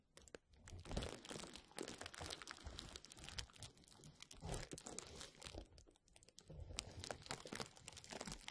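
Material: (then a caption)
Plastic. Fingertips rub and squeeze a roll of clear plastic bubble wrap held over the mic, crinkling it. The result is a continuous, quiet stream of dense crackles and crunches with bright highs, soft low thumps from the handling, and a few louder swells.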